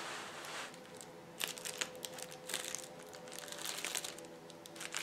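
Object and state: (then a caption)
Plastic bubble wrap being crinkled. A large flat sheet of clear plastic bubble wrap lies on a table as both hands press and rub it with their fingertips. The result is a steady, bright crinkling with scattered sharp crackles and pops.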